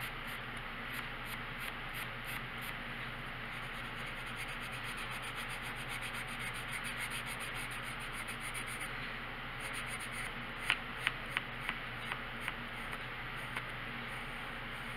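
A wood-cased dark colored pencil, held in the fingers, rubs steadily across the thin paper page of a coloring book lying flat on a wooden table while shading, making a soft, continuous scratchy hiss with a bright, papery edge. Near the end, seven short, sharp taps stand out above the steady rubbing.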